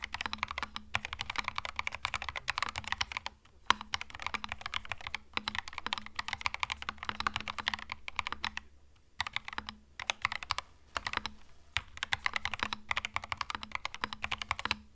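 Fingertips of both hands type continuously on a compact mechanical keyboard with plastic retro keycaps. Rapid, bright, crisp keystroke clicks run in dense bursts with short pauses, the longest around the nine-second mark. Each click is dry and stops almost instantly.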